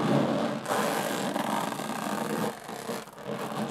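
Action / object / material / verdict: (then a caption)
scrape / small aluminum case with textured metal lid / aluminum / none. Long fingernails tap and scratch the textured metal lid of a small, hollow aluminum briefcase. A continuous, hollow scraping rasp with a low resonant body is broken by brief dips in level, as the scratching alternates between fast and slow strokes.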